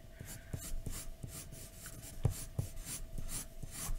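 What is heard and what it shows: A graphite pencil held in one hand scratches and shades a flat white paper drawing sheet lying on a dark desk. Rhythmic, bright, scratchy strokes come in quick bursts, each with a soft low tap as the lead meets the page. A faint steady tone runs underneath throughout.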